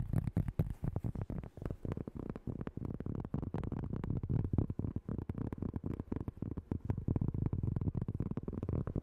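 A large, solid, round flat cork board or trivet is held in both hands close to the mic while long light-coloured nails tap and scratch its surface. They make fast, chaotic, dull, low-pitched knocks that stop almost instantly, mixed with soft scratching. The tapping runs non-stop through the whole clip.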